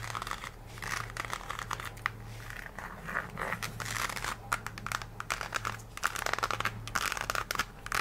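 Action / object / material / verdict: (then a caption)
scrape / synthetic rubber shoe sole / synthetic rubber / none. Long acrylic nails scratch and tap the brown patterned synthetic rubber sole of an empty nude heel with a white ruffled strap. The result is a dense run of crinkly scratching and sharp clicky taps over a steady low hum.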